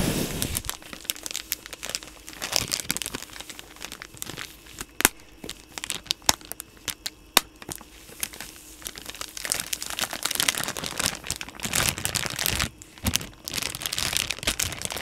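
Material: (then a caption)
Soft plastic. A full, hand-sized yellow soft plastic pouch of Lysol wipes is squeezed, crinkled and rubbed with the fingertips close to the mic. The result is a dense, bright crinkling and crackling with many sharp snaps, easing into brief quieter pauses before the rustling resumes.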